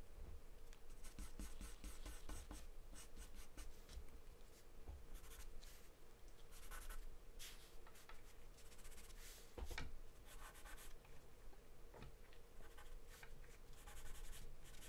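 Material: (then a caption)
Paper. A wooden pencil scratches and scribbles across a thin, flat sheet of white drawing paper taped down. The clip is a steady run of dry, bright scratching strokes in quick bursts over a quiet low background hum.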